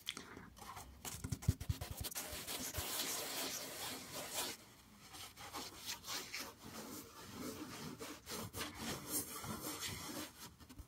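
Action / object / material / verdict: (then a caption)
scrape / green floral foam block / floral foam / none. A large solid block of green floral foam with finger-pressed dents is held close and scratched and rubbed with fingertips and nails. It produces dry, crackly, bright scraping and rustling with short sharp crunches, a dense stretch of continuous scratching followed by quieter, choppier strokes.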